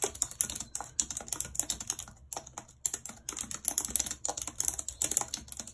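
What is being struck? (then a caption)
Plastic computer keyboard. A white low-profile plastic wireless keyboard with a full number pad and hollow housing, lying flat on a map-printed surface, is typed on rapidly with long red acrylic nails. The result is a dense stream of bright, sharp plastic clicks and taps with very short decay, broken by a few brief pauses.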